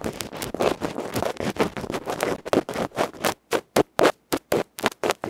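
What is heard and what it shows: A bamboo ear pick scratches rapidly across the dark felt front of a small metal electret microphone capsule held in the fingers. The close-up sound is loud, dry, broadband rustling and scraping centered in the low mids. It starts as a dense, continuous flurry, then breaks into short, separate strokes with silence between them.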